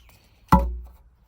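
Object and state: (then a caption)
Concrete footing present at bottom of post hole. A 2x4 is struck down a post hole on the gable onto the concrete footing at the bottom, giving a single dull, low thud that dies away within about half a second. The hit confirms the concrete footing is there, and it is judged acceptable.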